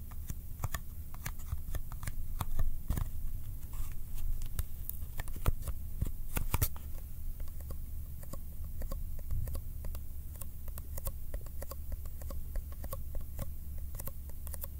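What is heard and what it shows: Fingertips tap and rub the sides of a small, hollow Kodak film cardboard box held in the hand, making sticky touches. Quick, sharp, dry clicks and ticks sound irregularly over a steady low hum throughout, with each click dying away almost at once.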